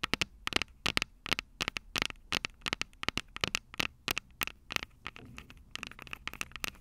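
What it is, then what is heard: Metal microphone capsules tapped with fingernails. Long purple nails tap and scratch the small metal microphone capsules on top of an upright Tascam DR-05 recorder. The result is rapid clusters of sharp, bright, dry clicks with almost no ring, loud and close to the mics. Between the taps comes faint scratchy rustling.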